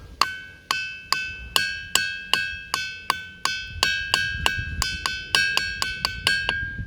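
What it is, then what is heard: Ringing boulder. A boulder resting only on other rocks, not touching the ground, is struck with a hammer 20 times in a quick, uneven rhythm like a little tune. Each hit gives a bright, metallic ring with a clear high tone that fades between strikes.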